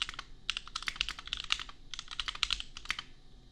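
Fingertips type on a compact $250 custom mechanical keyboard with Gateron Milky Yellow switches and red/pink plastic keycaps. Quick, bright, clacky keystrokes come in two rapid bursts separated by a brief pause near the middle. Each keystroke cuts off almost at once, with little low end.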